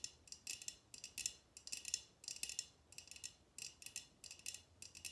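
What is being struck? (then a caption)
Glass tumbler. A tall, clear, empty drinking glass tumbler, held upright in both hands, is tapped with long red-painted nails. Quick clusters of light, bright clicking taps ring very briefly, with almost no low end and a faint glassy high tone.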